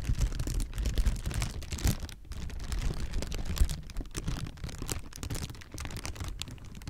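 Clear, hollow, air-filled plastic air-pillow packing is crumpled and squeezed between the fingertips of both hands. The result is a continuous run of dense crinkling and crackling over a heavy low rumble, with sharp little pops and bright rustle scattered throughout.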